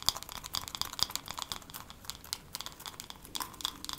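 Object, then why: Wooden hairbrush. Long nails tap quickly and unevenly across a wooden hairbrush, producing a rapid stream of crisp, dry clicks. The taps sound bright and light, with almost no low end, and each stops almost instantly. A soft rustle runs beneath them.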